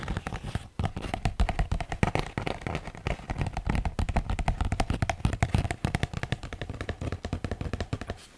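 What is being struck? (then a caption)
Thin paper sheet. A large sheet of thin white paper, held curled close to the microphone, is scratched and rubbed with fingertips and nails while being bent and crinkled. It produces a dense, continuous run of dry crackles, scratches and sharp ticks with a heavy low thump underneath, tapering off near the end.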